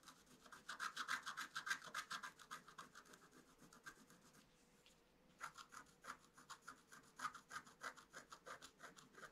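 A wooden stick scratches quick, repeated strokes across a flat, black-coated scratch-art paper sheet. The result is about forty dry, bright, rasping scrapes at a steady rubbing rhythm, with a brief pause around the five-second mark before the strokes resume.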